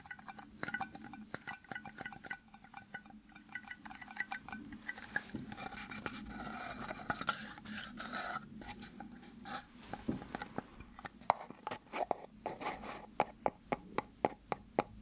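Two small white plastic cups joined rim to rim, hollow and empty, are held in both hands and tapped and scratched with fingertips and nails. Quick, irregular, dry hollow clicks and taps with almost no ring mix with stretches of soft, bright scratching, especially in the middle. Near the end, sharper, louder taps stand out.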